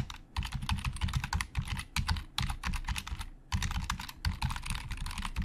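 A black, hollow plastic Logitech keyboard is typed on quickly with the fingertips of both hands. A dense stream of rapid clicking keystrokes carries a hollow, low thud, with brief pauses near the start and just past the midpoint. Each tap is short and dry, with almost no ring.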